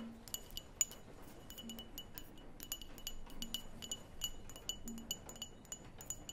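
Long nails tap the walls and rim of a small open clear glass cream jar with a label, its lid off and mostly empty. The result is a steady run of quick, quiet, bright clinks with very short ring over a soft low background hum.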